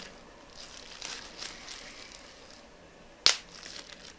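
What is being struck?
Plastic bubble wrap.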